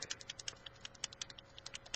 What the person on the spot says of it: you shake it and i don't know if you can hear but it's got you know some kind of thing that's mixing the product up